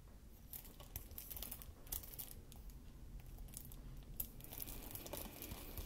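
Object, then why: Plastic game case in cellophane wrap. A shrink-wrapped Xbox One game case for Star Wars Battlefront, a hollow hard plastic case in cellophane wrap, is held in both hands while fingertips and short nails tap and scratch the wrapped cover. Quiet, bright crinkling and crackling of the film mixes with short ticking taps over a steady low rumble.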